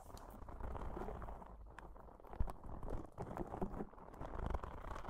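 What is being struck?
Soft rubber spiky ball.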